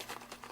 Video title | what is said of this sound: Kitchen Declutter With Me - Small Kitchen Organizing - | it sounds like sand and clumps in there